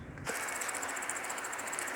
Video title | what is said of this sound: Reloading 223 Remington With 55gr BTHP Sierra Factory 2nds While Finishing Off A Bottle Of IMR 4064 | you can hear there's still room for a little more powder and we're not quite compressed yet